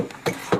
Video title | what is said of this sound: Die Arche Noah wurde gefunden! DOKU 360p | it's wood okay it's hollow listen to that sound